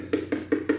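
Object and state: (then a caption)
Ripe watermelon. Four knocks on a dark-skinned, seedless watermelon, possibly a sugar baby, to check its ripeness, each giving a short hollow thump with a low pitch around 300 Hz and a quick decay. The hollow sound indicates the melon is ripe, and once cut it proved ripe with a crunchy texture, though not as sweet as it could have been.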